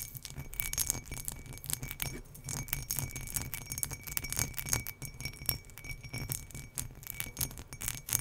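Long nails scratch across the textured sides of an empty turquoise embossed glass drinking tumbler held up in the air. The result is a dense stream of quick, bright, high-pitched scratchy clicks and glassy tinkles. A low rumble and a faint steady tone near 2.3 kHz sit underneath.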